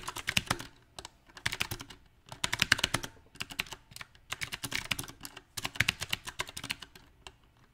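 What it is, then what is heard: Mechanical keyboard with round plastic keycaps. A compact backlit mechanical keyboard with round plastic typewriter-style keycaps is typed on with the fingertips of both hands. Bursts of quick, bright, clacky keystrokes come in uneven runs separated by short pauses, each click dying away almost instantly.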